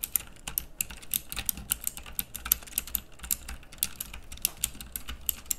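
Fingertips type continuously on a pink plastic mechanical keyboard with round dark keycaps, producing a steady stream of sharp, clicky switch presses. Each keystroke is a short, bright click with a soft low thud beneath it, and the clicks come in an uneven, rapid rhythm across the whole clip.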